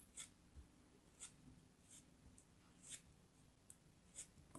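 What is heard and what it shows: A small, solid blue kinetic sand chunk held in the fingers is carved with a pointed metal craft knife. Six soft, quick, bright scraping cuts stand out over a faint low background hiss, each dying away almost at once.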